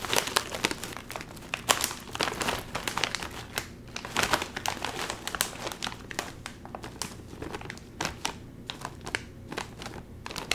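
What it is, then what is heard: Crinkling plastic chip bag. A full Doritos chip bag made of metallized plastic film is turned over in the hands, then crinkled and squeezed by the fingertips. The result is a steady, dense stream of crisp, bright crinkling with sharp crackles at a fairly quiet level, each snap dying away almost instantly.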